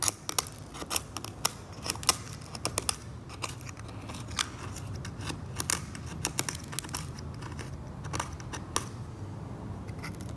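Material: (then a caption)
Varnish. A metal scalpel held in the fingertips scrapes the brown varnish layer off a varnished oil painting, scattering chips across the surface. Short, sharp, bright scrapes and ticks come in an irregular run, each dying away almost instantly. A steady low hum sits underneath throughout.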